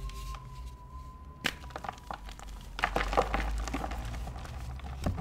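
Fingertips with short dark-painted nails squeeze, crumble and rub apart a hand-sized pink-and-white solid gym chalk block (magnesium carbonate), broken into pieces over a blue plastic tub where other chalk blocks sit, releasing powder. Soft gritty crunches and sharp little cracks come at first, with a distinct snap near the middle. Denser, louder crumbling and crackling follows over a steady low hum.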